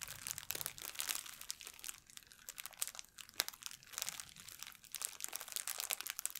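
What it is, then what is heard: Plastic bag being crumpled. An empty, thin clear plastic packaging bag is crumpled and rubbed with fingernails by both hands. The result is a quiet, steady stream of bright, crackly crinkling with sharp snaps, almost no low end, and sounds that stop instantly.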